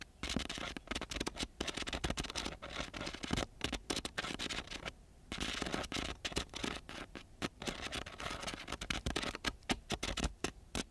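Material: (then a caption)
Sandpaper. The metal tip of a black-gripped ballpoint pen scratches across a flat, thin sheet of very gritty brown coarse sandpaper lying on a surface, close to a chrome microphone. Rapid, rough, bright scratching strokes come in dense bursts, with a brief quieter gap around the middle.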